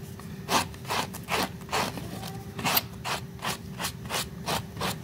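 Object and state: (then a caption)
Rug being scrubbed with a brush. A blue plastic brush with white bristles is stroked across a small, flat, pink woven fabric rug covered in soapy foam. About eleven brisk, airy scrubbing strokes rasp in an uneven rhythm, each a bright, wet hiss over a low, steady background hum.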